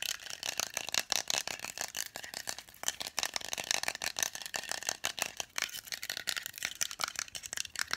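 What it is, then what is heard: Painted wooden nesting doll. Long nails tap very fast on a hollow, hand-painted lacquered wooden nesting doll about 15 cm tall, possibly holding inner dolls, while it is turned now and then, which may cause some rattling. The taps are dense, dry and clicky, bright and high with almost no low end, each dying away almost instantly.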